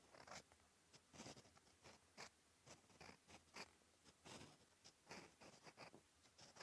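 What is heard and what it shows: A steel EF fountain pen nib scratches ink strokes across a flat, cream, lined paper notebook page. The result is a quiet series of short, bright, dry scratching bursts separated by brief pauses.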